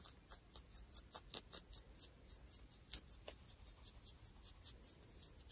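Long nails scratch across dark ripped denim jeans over the knee, catching on the frayed threads, with a microphone close by but untouched. A quiet, steady run of short, bright, raspy scratches repeats in quick rhythm, each fading almost at once with no ring.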